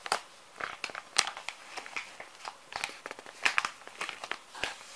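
Fingertips rub and tap the surface of a small, full, soft plastic-film pouch of wet wipes. The result is a rapid, uneven series of bright, crisp crinkles and short clicks with almost no low end. Each sound dies away almost instantly.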